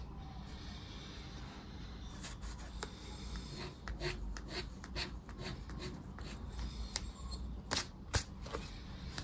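The edge of a round dark plastic disc scraper rubs and scratches the latex coating off a flat, thin €10 "Mega Pé de Meia" paper lottery scratch card lying on dark cloth, leaving visible shavings. Irregular, bright, papery scraping strokes come and go over a steady low rumble, growing denser and a little louder toward the end.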